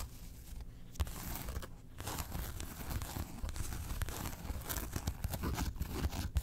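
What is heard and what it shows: A small, closed zip-around coin wallet with a grey felt body and a glossy faux-leather Porg face panel is held and then set on fur while long acrylic nails scratch and pick along the face panel and zipper edge. The result is a steady run of dry, crinkly scratching with soft low thumps and brief sharper picks that stop quickly without ringing.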